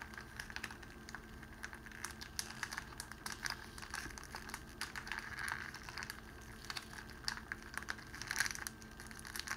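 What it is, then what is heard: Cellophane wrapping crinkled. Fingertips squeeze and crinkle a small pleated bundle of clear cellophane wrapping sheet wrapped around a rose. It makes a continuous stream of crisp, bright crackles and snaps, with louder bursts near the middle and toward the end.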